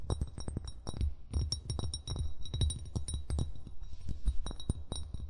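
Fingertips and nails tap and clink on a hollow brown glass wine bottle near its base, close to the recorder, as the hands move around the bottle. A rapid, irregular stream of short, dry taps carries a deep, boomy low thump, with faint bright glassy clinks above. Each tap dies away almost instantly.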